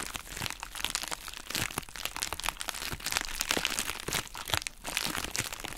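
A pink, hollow, heart-shaped plastic bubble wrap pouch is squeezed and crumpled with both hands and long nails. The result is a dense stream of bright crinkling and crackling with sharp snaps running throughout.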